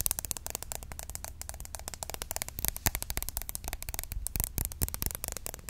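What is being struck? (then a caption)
Plastic roll-on deodorant bottle. A green opaque plastic roll-on deodorant bottle, hollow and partly filled, is held in the hand and tapped rapidly with long nails. The result is a fast, continuous stream of short, dry, clicky taps with a light hollow plastic knock underneath.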